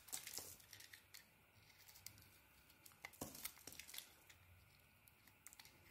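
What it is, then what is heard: Bar soap being carved. A small metal blade shaves and carves a hand-sized solid cream bar of soap with a dark purple coating. Quiet, bright, crisp scraping and crinkling strokes come in short irregular bursts, with a few louder cuts and little low end.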